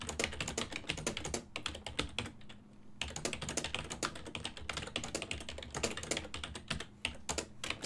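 Fingertips with painted nails type rapidly on a full-size black and silver ergonomic plastic desktop keyboard, its keys over a hollow body, resting on a wooden desk. A dense stream of quick, bright, clacky keystrokes with a hollow, low undertone runs steadily, easing into a brief lull just before the three-second mark before the fast typing resumes to the end.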